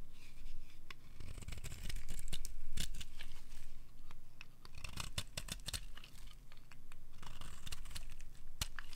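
A solid oval bar of dry blue soap, held in the palm, is repeatedly scraped along its edge with a metal utility knife blade. The result is a run of short, dry scratching strokes with crisp, bright clicks and a rough, uneven rhythm over a low, steady background rumble.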